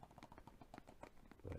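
Repeated light tapping on plastic video game cases produces a quick series of soft, hollow clicks with a low, dull body and very little high-end. The taps come in a fast, uneven rhythm and end on a slightly heavier, thumpier knock.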